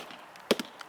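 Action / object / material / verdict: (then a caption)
strike / oak tree trunk struck with a mallet / oak wood / hollow. A mallet strikes a spot on the trunk of a veteran chinquapin oak: two close, short knocks followed by a fainter one, each with a dull midrange tone, little low end and almost no ring. The trunk sounds hollow rather than solid at this spot, indicating a hollow about 3 feet up.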